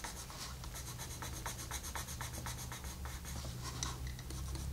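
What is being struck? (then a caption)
Colored pencil on a paper coloring page. A colored pencil tip makes short rubbing strokes across a flat paper coloring book page. Repeated soft, bright scratchy strokes sit over a steady low hum.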